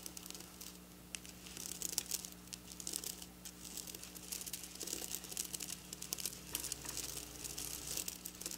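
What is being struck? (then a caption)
Sequin fabric. Long black nails scratch and flick across silver sequin fabric, close up. The result is a dense, bright crinkling rattle of tiny clicks and rustles that rise and fall in bursts, over a faint steady low hum.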